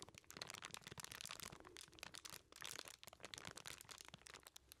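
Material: Aluminium foil.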